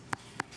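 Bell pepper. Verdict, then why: Fresh. A yellow bell pepper kept 21 days in a GreenBox storage container is tapped twice, giving two short, thick, hollow knocks centered around 960 Hz that die away almost instantly. The firm, hollow sound marks the pepper as still very fresh.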